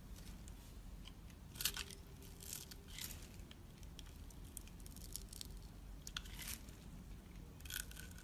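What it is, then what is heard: Bar soap being shaved. A utility knife blade shaves long thin strips off a solid, hand-sized, rectangular bar of pale pinkish-white soap. The result is quiet, crisp scraping and tearing rasps in bright, brief bursts over a steady low rumble.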